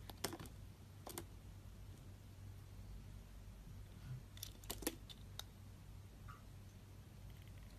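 A metal blade scrapes shallow strips off the surface of a solid, rectangular, brown-yellow household laundry soap bar with embossed lettering. Short, crisp scraping clicks come in small clusters, bright and dry with almost no ring. Between them sits a steady low hum.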